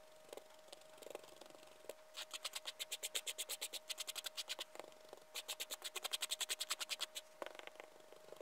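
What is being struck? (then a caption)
Loose sherbet powder on a hard surface, scraped with a liquorice stick. A gloved hand rakes and scrapes a liquorice stick back and forth through loose white sherbet powder spread on a flat white surface. Quick, bright, gritty scratching strokes come in two long rapid runs, with a faint steady hum underneath. A few scattered scrapes sound before, between, and after the runs.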